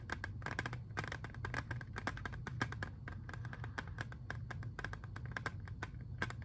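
A clear, hard plastic CD jewel case holding a disc, hand-sized and hollow, is held in both hands, tapped and scratched with fingertips and nails, and flipped partway through. Quick, dense, crisp plastic clicks and taps carry a hollow mid-range ring over a soft, steady low rumble, with brief scratchy strokes between them. Each tap dies away almost at once.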